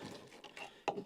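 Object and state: Solid bilge fill at mast step.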